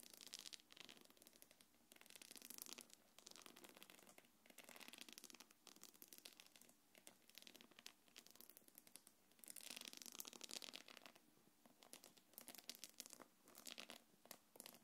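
Long nails scratch the upper body near the zipper of a small quilted black leather-look belt bag with a gold chain. The result is a quiet, steady run of dry, bright scratching in dense bursts with almost no low end.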